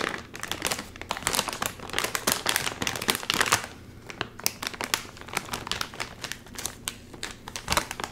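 A full, sealed, red and white metallized plastic chip bag is crinkled in both hands while its top seal is tugged. Dense, bright crinkling and crackling fills the first three and a half seconds, then thins into sparser, sharper snaps with quieter rustling between them.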